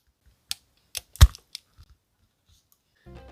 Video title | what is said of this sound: Testing chocolates after I lost my taste - Tony's Chocolonely Review | it was very deep. The sound was very deep, sharp not at all.